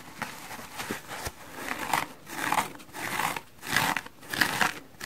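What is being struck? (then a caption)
Foam sponge. A hand-sized, soft, solid, dry porous foam sponge with red, yellow and blue wavy stripes is held in the hands and scratched with fingernails and fingertips. This produces a series of dry, rasping, crinkly scratching strokes that swell and fade at an uneven rhythm, with most of the sound in the upper-mid and high range and little low end.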